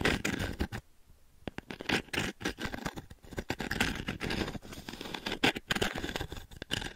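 Fingertips and long nails scratch and rake across the dense pin grid of a small octagonal wooden-frame pin brush. The result is a rapid, crackly run of bright scratches and raking bursts, broken by a brief quiet gap near the start before the scratching resumes and continues steadily.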